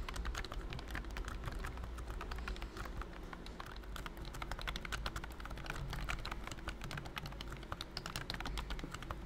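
Fingertips type rapidly on a pink plastic BT21 Cooky keyboard with round white keycaps and a hollow body. A dense stream of light, clicky key taps, bright and crisp, runs over a steady low hum.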